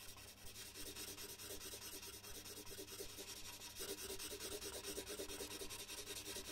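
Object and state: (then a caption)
Paper sheet shaded with pencil. A red colored pencil shades letters on a large white paper sheet resting on a wooden desk, making quick, repeated rubbing strokes. It is a steady, bright, scratchy rasp with a soft low hum underneath, and it grows slightly louder and denser partway through.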